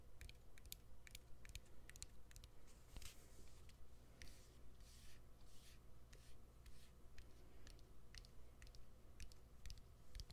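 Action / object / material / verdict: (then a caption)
tap / smartphone with exposed battery and plastic frame / plastic / none. Fingernails tap on the exposed battery and plastic frame of a smartphone with its back cover removed. Quick, dry, bright clicks come at an uneven pace of roughly two per second, each dying away almost instantly over a steady low hum.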